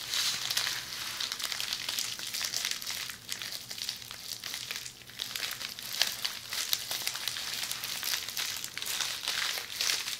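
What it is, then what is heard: Plastic bubble wrap. A roll of red plastic bubble wrap held in hands is scratched by the tips of long polished fingernails. The result is a steady, dense stream of bright crinkling and scratchy ticks, almost entirely high-pitched with no low end, swelling and easing slightly over about ten seconds.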